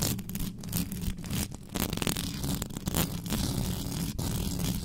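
Long pink acrylic nails on both hands scratch fast across the hollow metal mesh grille of a black USB condenser microphone with no cover. The result is a dense, continuous scraping with a heavy, boomy low rumble underneath and a bright, crackly hiss on top, without letting up.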